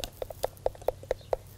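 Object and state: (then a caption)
Hollow borer-damaged tree trunk. A borer-infested tree trunk is tapped seven times near a crack where the borers entered, each tap a short, dull, hollow knock centered around 520 Hz with almost no ring. The hollow sound comes from a large cavity inside, where the insects are nesting in soft, rotten wood.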